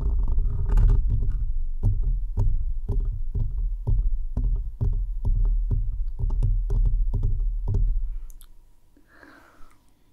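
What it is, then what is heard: Metal mesh microphone grille being scratched. Fingertips and nails of both hands scratch and rub the rounded metal mesh grille of a bare microphone with no foam cover, resting on a desk. The result is a deep, boomy rumble broken into quick, uneven scraping strokes, about two or three per second. The strokes stop near the eight-second mark, leaving a faint rustle that ends with a brief soft scrape.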